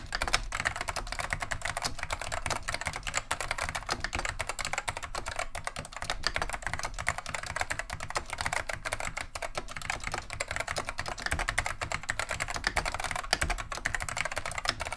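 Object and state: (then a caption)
Plastic mechanical keyboard being typed on. Continuous two-handed fingertip typing on a beige plastic vintage Wang 725 mechanical keyboard with Alps SKCM Neon Green/Lime switches. Dense, crisp clicks and clacks follow each other rapidly, each dying away almost instantly, with a bright mid-range snap over a low thump from the keys bottoming out.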